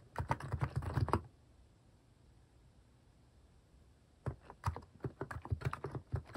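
Fingertips type on a compact mechanical keyboard with a white plastic case and cat-themed plastic keycaps, resting on a wrist pad. A quick burst of clacky key taps with a deep, low thock is followed by a near-silent pause of about three seconds, then another run of taps. Each tap is short and dry, dying away almost instantly.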